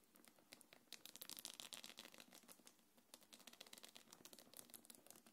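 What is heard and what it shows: Long nails scratch and tap the top of a small black quilted faux-leather belt bag and its gold metal chains. Quiet, rapid, irregular clicks and bright scratchy rustling run continuously, with short dry taps and light chain jingles throughout.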